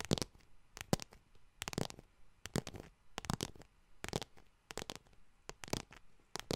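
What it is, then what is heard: Faux leather wallet tapped and scratched. Long nails tap and scratch the front of a small yellow faux leather wallet with a metal bar, held in both hands. Quiet, dry, irregular bursts of tapping and scratchy rustle spread from low thuds up into bright hiss. Each sound cuts off almost at once, with no ring.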